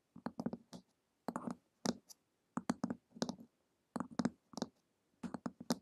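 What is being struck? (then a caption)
Hardcover book with glossy printed cover. Long acrylic nails tap and lightly scratch the glossy printed cover of a flat, solid hardcover book lying on a table. Quick, dry clicky taps come in short clustered bursts separated by brief pauses, with a low-mid body and bright edges. Each tap dies away almost instantly with no ring.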